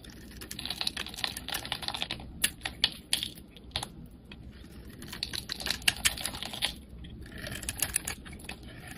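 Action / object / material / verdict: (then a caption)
scrape / soap bar cut with a knife blade / soap / none. A utility knife blade shaves and carves curls of pink soap from a palm-sized solid Lux soap bar with a spray-painted colored coating, held in the hand. It makes a steady run of crisp, bright scraping and cutting ticks, with sharper louder snaps in bursts and a faint low background hum.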